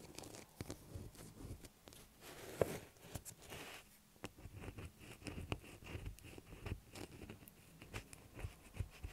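Long black acrylic nails scratch and tap a light blue solid bar of soap lying on a table. The result is a quiet, continuous stream of dry, dull taps and soft, rough scratching, weighted toward low tones with a little brighter hiss. Each tap dies out almost instantly.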